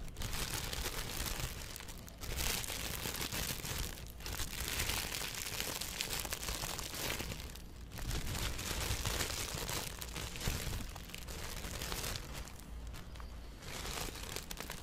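Fingertips scratch and crumple a thin, empty blue plastic bag stretched in front of a microphone. A dense, continuous crinkling rustle fills the clip with bright crackle over a low rumble, easing briefly at a few moments before resuming.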